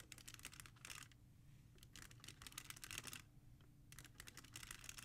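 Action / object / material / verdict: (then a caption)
tap / plastic CD jewel cases in a rack / plastic / none. Long nails tap and scratch quickly across the top spines of a row of plastic CD jewel cases standing in a black holder. Three bursts of sharp, bright, clicky tapping are separated by brief quieter pauses, over a faint low rumble.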